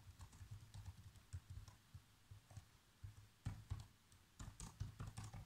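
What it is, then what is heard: Plastic laptop keyboard being typed on. Fingertips tap the black plastic keys of a laptop keyboard in a steady run of typing. The quiet, short taps are mostly low, soft thuds, with faint bright clicks on the sharper keystrokes, and they grow louder and denser toward the end.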